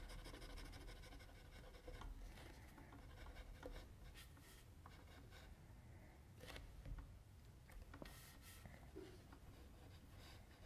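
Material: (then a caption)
Paper. A mechanical pencil tip rubs and scratches short strokes across a flat white sheet of drawing paper while the left hand rests on the sheet. The sound is quiet and steady: soft, dry scratching with brief brighter strokes over a low, dull background hum.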